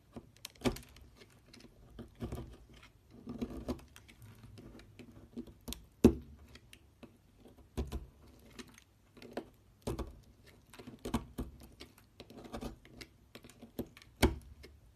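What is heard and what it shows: A metal knife blade cuts and scrapes a solid purple bar of soap resting on a table, chipping chunks off. Soft, dry crunching scrapes are broken by short, sharp cracks as the pieces break away. The sound is quiet and close, with most of its energy in the low and middle range.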